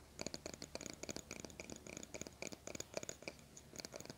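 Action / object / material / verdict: scrape / plastic hairbrush bristles / plastic / none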